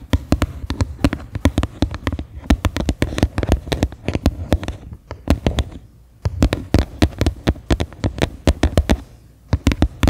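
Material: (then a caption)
Plastic. Fingernails and fingertips tap the flat bottom of a medium, faceted white plastic bowl turned upside down, hollow and empty. Quick clusters of dry, hollow taps with a low, thumpy body and very short ring come in uneven bursts, with brief pauses near the middle and toward the end.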